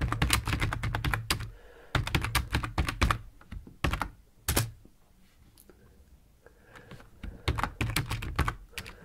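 Fingertips of both hands type on a full-size black plastic computer keyboard resting on a wooden desk. Rapid bursts of deep, thumpy key clacks with bright ticking edges are broken by short pauses. A quieter stretch follows midway before the typing picks up again toward the end.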